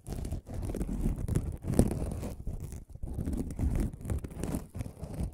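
A flat aluminum mesh scrubbing sponge pad is held in front of the microphone and scratched and crinkled with fingertips. It makes a dense, crackly crinkling and scratching, weighted toward low tones with brief pauses between bursts.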